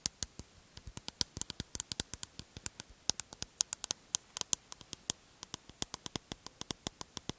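A medium aluminium aerosol spray can with black and blue print and a plastic cap on top, hollow and pressurised, is held in one hand in front of a microphone while the long nails of the other hand tap and scratch along its body. About 45 sharp, bright clicks come in quick, irregular bursts, each dying away almost instantly with no ring, over a faint hiss.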